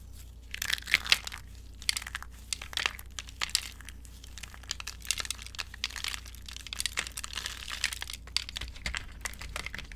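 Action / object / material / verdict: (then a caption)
scrape / curled soap shavings in a glass bowl / soap / none. Fingertips and long nails crush and crumble brittle, curled and broken green dry soap shavings by hand in a glass bowl. Dense bursts of bright, dry crinkling and crackling crunches centered around 2.6 kHz come in quick clusters throughout, each snap dying out almost instantly. A faint steady low hum sits underneath.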